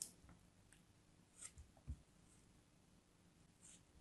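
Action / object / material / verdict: scrape / kinetic sand piece / kinetic sand / none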